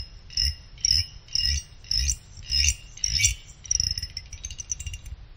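A small pick held in the fingers scrapes across the side fins of a small finned aluminum CPU cooler heatsink. Six separate scrapes each give a bright, metallic, chime-like ring with a soft low rumble beneath. They are followed by a quicker run of lighter high ticks that fade out.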